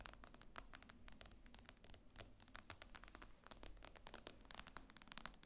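Rapid fingernail tapping on the glass screen of a solid iPad lying flat produces a dense run of quick, sharp clicks with bright, dry attacks that stop almost instantly. A low, steady hum sits underneath the tapping.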